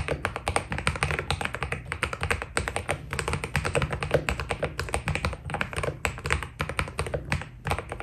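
Fingertips type steadily on a white Keydous NJ80 mechanical keyboard with PBT plastic keycaps, producing a rapid, continuous stream of short key taps. Each press gives a crisp clack with a soft low thump underneath and a quick, dry decay.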